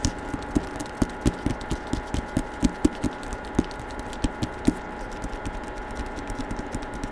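Fingertips tap and rub the back cover of a hardcover novel with a paper dust jacket, held close in front of the microphone. A quick, irregular series of short, dull, woody taps with a low thump lands over a soft, steady papery rubbing, each tap dying away almost instantly.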